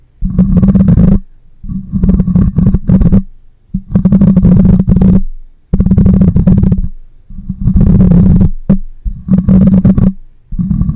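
Fingernails scratch and fingers grip the metal mesh grille of a black microphone. The result is repeated bursts of loud, boomy, low rumbling and scraping, separated by short silent pauses, with almost no high-end content.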